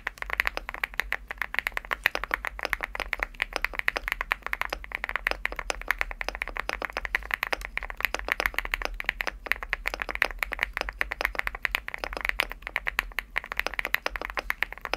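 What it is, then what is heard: Aluminum mechanical keyboard with PBT keycaps. Fingertips type steadily on a Leobog Hi8 75% aluminum mechanical keyboard with a green aluminum case and cream PBT plastic keycaps. Dense, rapid keystrokes make crisp, dry clacks centered in the upper mids with bright edges and almost no low end. Each stroke dies away almost instantly.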